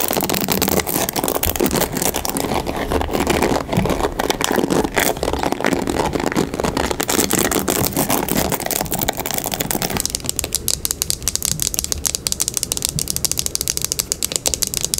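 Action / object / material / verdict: scrape / plastic paddle hairbrush / plastic / none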